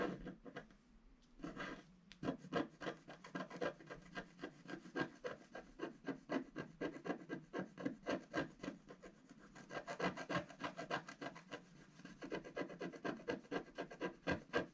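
A wooden stylus makes rapid hatching scratches across a flat black sheet of wax-coated scratch art paper on a gift box. The result is a quick, uneven run of short, dry scraping strokes with a bright, papery rasp. The strokes come in brisk bursts with brief pauses between them.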